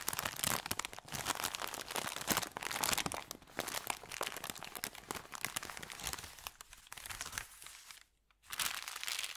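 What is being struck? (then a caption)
Thin kraft paper bag. Fingertips and nails rub, smooth and crinkle the surface of a thin, empty brown kraft paper bakery bag lying flat. The result is a dense, bright crinkling and crunching with quick crackles, which stops in a brief near-silent gap just after the eight-second mark and then resumes.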